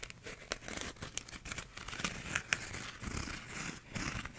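Fingernails scratch the bumpy outside of a blue textured plastic sleeve on a small, hollow, empty paper cup with a cardboard inner wall. The result is a continuous dry, crinkly scraping with a bright, hissy edge, broken by sharper clicks around half a second, two seconds and two and a half seconds in.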